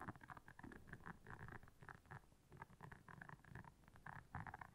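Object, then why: Silicone scrubber pad with soft bristles. Long nails scratch across the soft bristles of a round, flat, blue solid silicone scrubber pad lying on black fur. The result is a quiet, continuous run of quick, dry scratchy flicks with a soft low rumbling underneath, rising and falling in short bursts.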